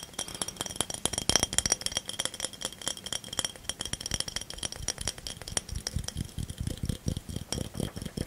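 A small ridged cobalt-blue glass bottle is held close and rapidly tapped and scratched with fingertips and nails. It makes a steady stream of short, bright glassy clicks and clinks with high, thin ringing tones. Toward the end, the taps take on a softer, duller low thump.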